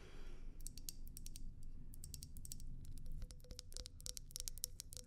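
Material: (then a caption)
Glass. A tall, slim, clear glass vase, hollow and empty, is held near the mic and tapped with long nails. Quick, dry, high clicking taps come in an irregular stream over a steady low rumble, with a faint low ring joining the taps in the second half.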